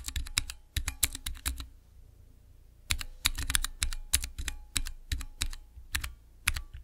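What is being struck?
Acrylic mechanical keyboard switch tester with plastic keycaps.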